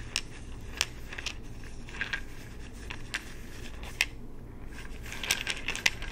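A small amber plastic supplement bottle with an orange cap and a paper label, apparently holding pills, is held in both hands, tapped with the fingertips and shaken. Short, sharp, bright clicks and rattles ring out at irregular intervals over a steady low background hum, each dying away almost instantly.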